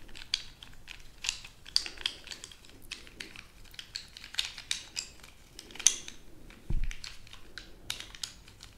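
A bundle of about 15 to 20 sharpened wooden colored pencils, held in both hands, is rattled and rubbed together with long nails and fingers. Quick, bright wooden clicks and rattles come in irregular bursts over a soft rustle, with one duller low thump near the end.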